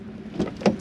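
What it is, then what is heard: Tinny, light-sounding car door. A car door on a Peugeot 208 HDI (2012–2019 generation) with over 150,000 km is shut, giving a tinny, light thunk centred low around 200 Hz with brief bright rattles rather than a heavy, solid close. The steel sheet door panel vibrates noticeably, a sign of mediocre hinge and door quality common on this model.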